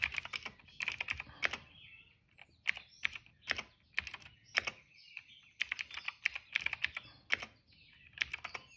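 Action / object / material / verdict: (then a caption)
tap / plastic mechanical keyboard keys / plastic / none. A retro-style cream plastic mechanical keyboard with dark and purple plastic keycaps and a hollow case, resting on a rug, is typed on steadily with the fingertips of both hands. Quick, dry, bright keystroke clicks come in bursts with brief pauses, each tap short with almost no ring and very little low end.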